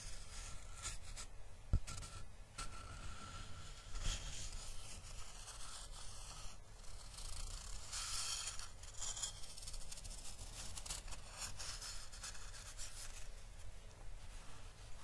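A flat, solid, weathered driftwood piece is held and then set on a cloth while fingertips rub and scrape along its grained surface. The result is a quiet, continuous dry scraping and rubbing with a bright, gritty texture over a low rumble, broken by a sharp click early on and brief louder swells of friction.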